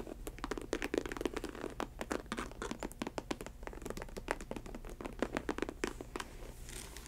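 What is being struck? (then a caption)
Synthetic leather ankle boot. Long white nails tap and scratch the textured snake-print synthetic leather upper of a faux snakeskin ankle boot with a studded rim and a chunky rubber sole. The result is a rapid, uneven run of dry, crisp clicks and scratchy rasps that stop dead with no ring, over a steady low hum.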